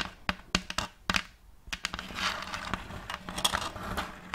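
A round checkerboard-block wooden plate, held upright, has its surface scratched by long acrylic nails. Sharp, bright clicks and taps come first, then give way to a steady, dry, high scratching that continues with a few more crisp clicks to the end.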